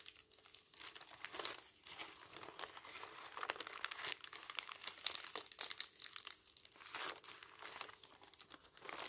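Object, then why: Thin tissue paper sheet. A large, thin, white crinkled tissue paper sheet is lifted, folded and rubbed by fingertips over a stack of magazines. It makes a steady run of bright, dry crinkles and crackles with no low end, swelling and fading as the sheet is handled.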